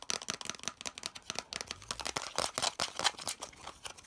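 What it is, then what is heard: Plastic part tapped and scratched. Fingernails rapidly tap and scratch the flat face of a hollow molded yellow plastic piece. The result is a fast, dense run of crisp, dry clicks and scrapes that are bright and high with almost no low end. Each tap dies away almost instantly.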